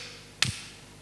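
A hammer strikes a piece of wood once, giving a short, sharp knock with a brief low thump underneath that dies away within a fraction of a second. The wood stays intact and keeps its shape, since it is harder than glass and would only break under a much stronger blow.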